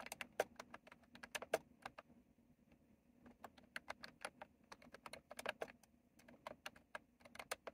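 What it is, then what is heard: Plastic mechanical keyboard being typed on. Both hands type with their fingertips on a retro plastic mechanical keyboard with round plastic keycaps. About 38 crisp, bright clicks come in uneven bursts, with a brief lull in the middle. Each click is short and dry over a faint steady low hum.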